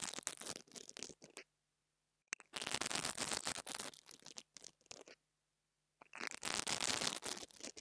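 The bristles of an interdental brush scratch across the top of the metal grille on a small black plastic mini lavalier microphone. Three bursts of rapid, bright, hissing scratches are heard, separated by short silences, with a sharp click just before the second burst.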